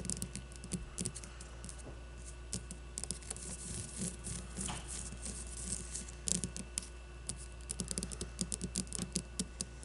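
Long blue-polished nails scratch and tap the cover of a solid, regulation-size white leather baseball with red stitching, resting on a wooden table. The sound is a quiet, steady run of dry, bright scratching with many crisp, very short taps and clicks that stop almost instantly, over a faint low hum.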